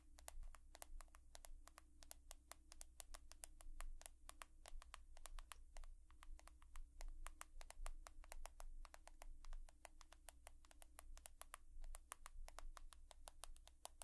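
An iPhone with a glass and metal body is tapped rapidly and steadily with long nails, giving a continuous stream of short, crisp, bright clicks. A constant low hum runs underneath throughout.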